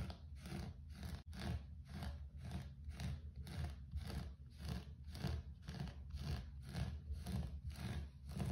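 Fingertips scratch and rub the pile of a low-pile grey carpet floor in a steady back-and-forth rhythm. Each stroke is a soft, rough, muffled swish, mostly low and dull with only a faint brighter hiss on top.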